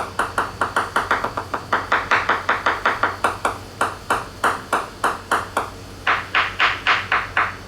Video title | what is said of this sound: New Leopard Catamaran dry glass, voids and construction issue sounds, tap, hammer sounding testing. | quite thick gel coat with weight with uh something behind it